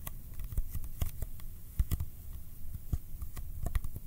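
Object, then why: Small cardboard box. Sticky fingertips tap rapidly and unevenly on the sides of a small, hollow Kodak ColorPlus cardboard film box held in one hand. Each tap is a short, dry, hollow thump with almost no ring, and a faint bright tacky click comes as the fingertips pull away. The quiet, steady patter carries most of its weight in the low end.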